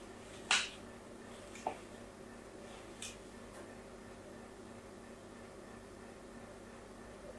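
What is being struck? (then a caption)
Bar of soap. A fine blade scores diagonal lines into a solid pink soap bar held upright in the hand. Three short, bright, crisp scraping strokes come about a second apart, the first the loudest, each fading quickly. A steady low hiss and hum sits underneath throughout.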